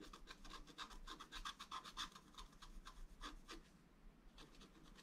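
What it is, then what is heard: Scratch art card being scratched. A wooden stylus scratches lines into a flat scratch art paper card, working on the right side of a drawn gate. About twenty quick, dry, bright scratching strokes follow one another in an uneven rhythm, with a quieter stretch near the end before the strokes resume softly.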